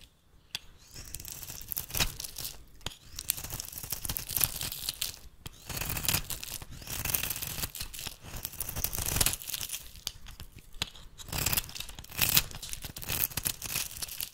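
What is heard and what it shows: A metal blade shaves thin flakes off the edge of a solid rectangular bar of rancid pink soap held in the hand. The sound is a series of bright, crisp scraping and tearing bursts with short pauses between strokes, and a soft low rumble underneath.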